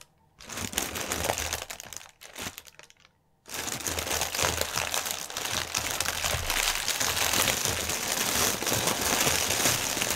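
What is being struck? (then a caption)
Plastic air-cushion packaging film. Fingertips and nails rub and press a flattened clear plastic air-cushion packaging strip with green print, lying on a white table. Dense, bright crinkling comes in bursts for about two seconds, then a short pause. It resumes as steady, continuous crinkling to the end.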